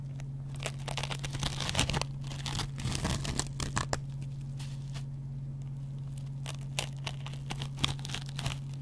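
A metal double-edge razor blade scratches the yellow foam of a dry, hand-sized kitchen sponge made of yellow cellulose foam with a green scouring pad. Dry, crackly scraping strokes come in quick, uneven bursts with bright rasping edges, heaviest in the first four seconds and more scattered after. A steady low hum runs underneath throughout.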